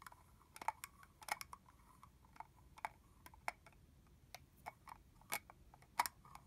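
Long fingernails tap on the body and cap of a capped, partly full red plastic mist bottle. Around eighteen quiet, sharp clicks come at an uneven pace, each with a mid-pitched tick and a bright edge that dies away almost at once.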